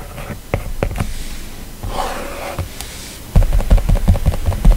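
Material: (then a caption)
Glass. A plastic stylus writes handwriting on an iPad's glass screen in soft rubbing strokes, with light scattered taps and a brief brighter scratchy swell. In the last second and a half, a louder burst of rapid, dull, low-heavy tapping comes as a fingertip touches the screen.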